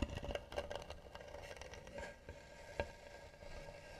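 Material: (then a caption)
Wood. Long nails scratch slowly across the flat lid of a tan, hollow, carved wooden box. The result is a soft, dry scraping with quick crackly ticks clustered early and a sharper tick near the end, over a low, hollow body resonance and a faint steady tone around 600 Hz.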